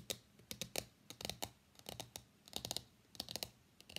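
Long nails and fingertips tap rapidly on the printed lid of a small, hollow, closed white cardboard iPhone box lying on a desk mat, and the box is lifted at the end. The taps come as quick, uneven clusters of dry, bright clicks that die away almost instantly, over a faint low hum.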